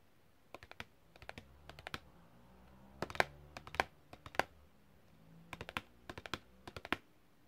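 A long, thin, flat printed cardboard packaging card with a hang hole, thin and solid, rests on the fingers, rings on them, and is tapped rapidly with long red-painted fingernails. The result is quick, dry, clicky taps in uneven bursts with short pauses. Each tap is crisp and bright and dies away almost at once.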